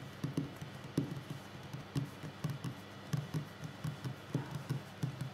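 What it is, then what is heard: Wooden table. Fingers tap on a wooden table in a slow, relaxing session, with ten soft, dull knocks in an uneven rhythm. The taps are low and thuddy, each dying away almost at once over a faint steady background hum.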